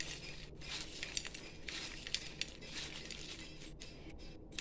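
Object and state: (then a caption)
Crisp fried cluster beans. Tender cluster bean pods, stir-fried until crisp for children, are handled and broken, giving bright, dry crunching and crackling with sharp snaps over a low rumble. The crunchy sound shows the beans are crisp and fully cooked.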